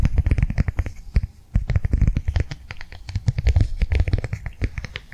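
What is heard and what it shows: Long nails tap rapidly on a flat blue rectangular plastic cardholder held upright in the hands. The result is a dense run of short, dry taps with a low, hollow thump and faint bright clicks, each dying out almost at once, with a brief pause near the 1.5-second mark.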